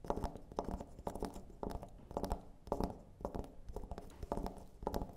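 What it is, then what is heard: Carved wooden elephant figurine. Long nails tap and scratch over the carved, textured body of a small, solid, dark carved wooden elephant figurine resting on a wooden table. Quick, dry, woody clicks come in uneven clusters, each dying away almost at once, with faint scraping between them.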